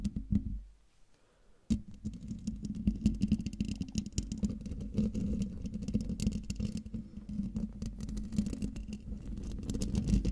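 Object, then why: Metal mesh microphone grille. Long dark nails tap and scratch a hollow domed metal mesh microphone grille. A few quick taps give way to a near-silent pause, then a dense run of close, rustling scratches and patters. It carries a steady low resonance around 210 Hz, with each touch dying away almost instantly.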